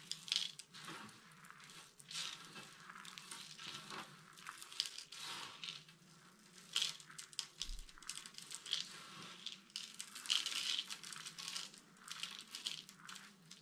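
Hands scoop handfuls from a pile of small, dry, pastel soap chips and squeeze and crush the solid, brittle flakes between palms and fingers. The result is a steady stream of dense, crisp, bright crunching and crackling, with short, dry crackles that come in bursts and almost no low end.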